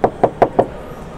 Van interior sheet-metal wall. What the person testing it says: ça sonne la ferraille, donc c'est pas isolé